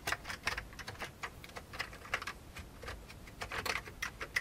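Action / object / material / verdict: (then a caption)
tap / old plastic computer keyboard / plastic / none. Both hands type with their fingertips on the hollow keycaps of a full-size vintage beige plastic computer keyboard resting on a desk. About twenty quick, bright, hollow clacks come in an uneven, steady rhythm. Each clack dies away almost at once over a faint low background.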